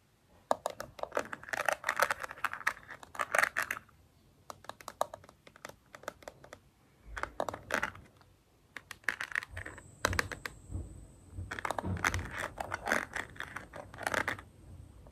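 Long red nails tap and scratch a small, flat, printed cardboard cosmetic box held in one hand, making quick dry, clicky bursts of taps with brief scratchy rustles between them. Each bright tap dies out almost at once, and a faint, steady high tone runs under the later bursts.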